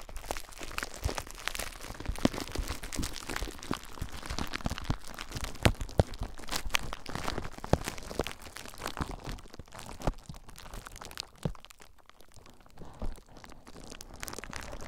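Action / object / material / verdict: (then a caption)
scrape / plastic bubble wrap / plastic / none. Clear plastic bubble wrap wrapped around a recorder is squeezed by fingers, then scratched with fingertips. Dense, close crinkling and crunching fill the clip, with sharp crackles and clicks throughout. The sound thins out and grows quieter toward the end.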